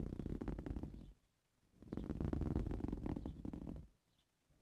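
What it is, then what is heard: Woven fabric cushion. Both hands scratch the weave of a soft-filled green woven fabric cushion with blue-painted nails. Dense, rapid, rough scratching with a heavy low rumble comes in two long bursts separated by a short near-silent pause, with a third faint burst starting just as the clip ends.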